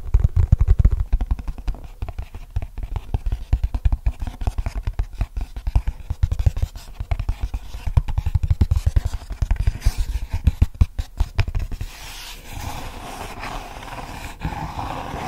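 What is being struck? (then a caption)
Hard translucent plastic clamshell case. A medium, hollow, apparently empty frosted translucent hard-plastic clamshell case, held in both hands, is tapped rapidly with the fingertips. The taps are dense, short and dull, with a deep low thump and almost no ring. Near the end the tapping fades into a softer, steady rustling scratch.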